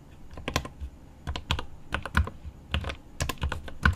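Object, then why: Mechanical keyboard with plastic keycaps and aluminium case. Both hands type rapidly with their fingertips on a 75% mechanical keyboard with plastic keycaps on an aluminum case. The key taps come in uneven clusters, each a short, deep thock with a brief bright click on top.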